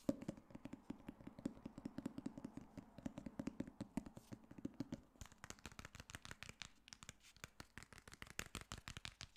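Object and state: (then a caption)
Hardcover book tapped and scratched. Fingertips tap and scratch the cover and spine of a solid black hardcover copy of "The Girl on the Train," making a fast, dense run of short, dry clicks. For the first five seconds the taps carry a low, hollow body tone, then they turn thinner and brighter with more scraping texture.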